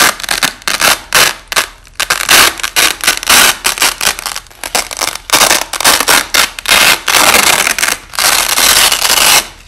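Hands peel white nylon hook-and-loop (Velcro) strips, held flat, apart and press them back together, with the audio slowed down. Repeated bright, rasping ripping bursts fill mostly the high range with almost no low end, some short and choppy, others long drawn-out tears, each separated by brief pauses.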